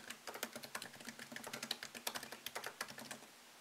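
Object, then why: Laptop keyboard, plastic keys in aluminum body. Fingertips tap the low-profile plastic keys of a MacBook Pro keyboard set in a thin solid aluminum chassis, typing in a steady stream. The clip is made of quick, light, bright clicks with almost no low end, each dying away almost instantly and leaving a soft hush at the end.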